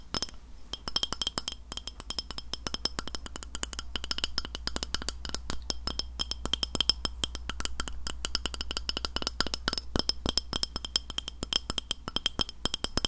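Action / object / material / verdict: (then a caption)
tap / glass plate tapped with fingernails / glass / none. Fingernails tap rapidly and continuously on a white glass plate for about thirteen seconds. Each tap makes a short, bright, high-pitched click that dies away almost instantly, over a steady low hum.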